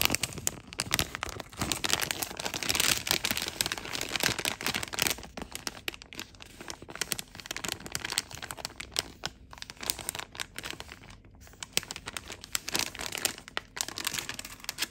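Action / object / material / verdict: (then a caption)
scrape / thin plastic film bag / plastic film / none. Fingers crinkle and handle a blue and clear plastic film packaging bag with a barcode label, made for memory foam insoles, then open it close to the microphone. The sound is a dense stream of bright, sharp crackles and crinkles, mostly in the high range with little low end, and each snap dies away almost at once. The activity is busiest in the first few seconds, then continues in uneven bursts with brief pauses.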